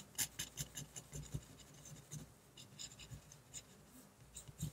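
A fine metal pen nib scratches across a flat white paper sheet in dense back-and-forth hatching while a tree is drawn, the hand and pen staying on the same sheet throughout. Quick, dry scratchy strokes come in a steady, uneven rhythm, each a brief bright rasp with a soft low thump from the hand and pen against the paper.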